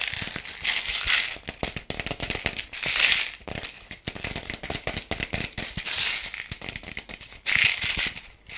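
Fingernails tap and scratch a hollow, palm-sized yellow plastic toy ball with pink spots, held in both hands. Quick, dry clicking taps are broken up by louder bursts of bright, hissy scratching. The sound is thin and high, with almost no low end.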